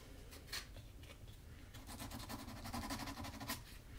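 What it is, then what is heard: Leather shoe sole edge being sanded. A small piece of sandpaper is rubbed by hand along the leather sole edge of a black Magnanni double monk-strap leather shoe. Quiet, dry scratching strokes repeat over a low steady hum, with bright rasps that grow denser toward the end. The shoe is then lifted to show its hollow interior and insole.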